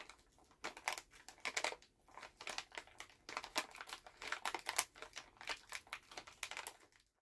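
A full Halls plastic cough drop pouch is held in both hands while fingers crinkle and tap the bag. The result is a run of quiet, bright, dry crinkling bursts and light taps with almost no low end and very little ring.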